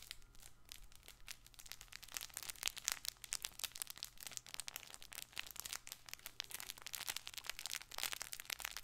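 A soft multicolored fabric baby crinkle ball with star patches and tags is squeezed and rubbed with fingers. It gives off dense, quick crinkling and crackling that is bright and crisp, with a faint low hum underneath.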